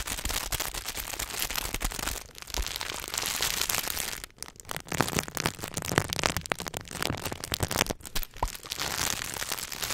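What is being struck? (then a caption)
Chocolate bar in paper and foil wrapper. A Hershey's milk chocolate bar, flat and solid in its paper and foil wrapper, is held close to the mic while fingertips and nails tap, scratch and crinkle the wrapper. The result is a fast, dense stream of sharp crackles and crisp, bright rustling with short clicky taps, dipping briefly near the middle before picking back up.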